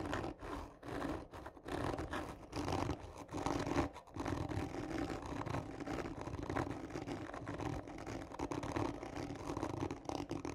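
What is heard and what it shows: Long nails scratch hard and slow across a hollow, textured cardboard tube lying on its side. The result is a dense, raspy scraping with a hollow mid-range resonance, broken by a few brief pauses, and it continues for the whole clip.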